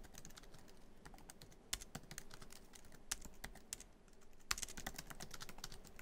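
Fingertips of both hands type quickly on a MacBook Pro keyboard, tapping many black plastic keys set in the silver aluminum body of the hollow laptop. A steady, quiet stream of short, bright clicks with a thin low thud beneath runs throughout, broken by a few sharper, louder clacks. Each tap stops almost instantly with no ring.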